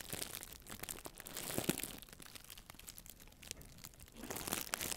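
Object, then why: Nylon mesh bath pouf. A small white hollow nylon mesh bath pouf, held in one hand with long nails, is squeezed and crinkled next to and against the microphone. Dense, bright crinkling and crunching rustles come in quick bursts, louder at the start and again near the end, with a quieter stretch in the middle.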